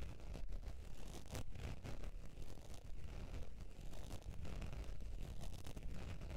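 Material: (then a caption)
Faux leather. Long pointed nails scratch the surface of a beige textured faux leather zip wallet lying on fur. The result is a quiet, steady, low scratching rumble with loosely rhythmic strokes, about two per second, and little bright content.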